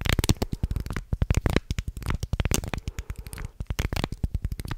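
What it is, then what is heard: Wooden shark guiro being scraped. A thin wooden stick scrapes along the ridges of a small carved light-wood guiro shaped like a shark, its grooved body held close to the mic. The result is a rapid, uneven run of dry, clicking ratchets with a deep, low-heavy body and almost no ring between strokes.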